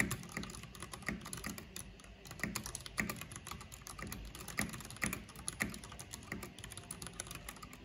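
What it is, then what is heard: Plastic mechanical computer keyboard. Both hands with long nails type rapidly on a black plastic backlit mechanical keyboard with hollow plastic keycaps. The result is a steady stream of quick, bright clacks with a hollow, low plasticky body around 200 Hz. Each keystroke is short and dry, with louder accents scattered through the run.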